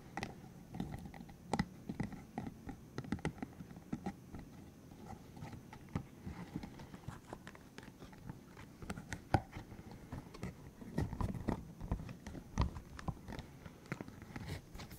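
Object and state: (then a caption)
Silicone spiky massager. Fingertips squeeze, rub and tap a green hollow silicone spiky cylinder massager, working over both the spiky surface and the open end. The result is a steady stream of soft, dull rubbery clicks and light scratchy rubbing, mostly low and muffled, with occasional sharper taps.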